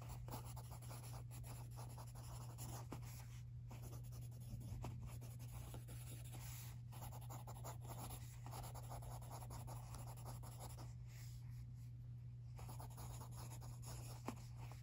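A pencil scratches across a thin page of an open lined paper notebook while writing, as the other hand, with long teal nails, rests flat on the opposite page. Soft, continuous scratchy strokes with brief pauses sit over a steady low hum. The sound stays quiet and even throughout.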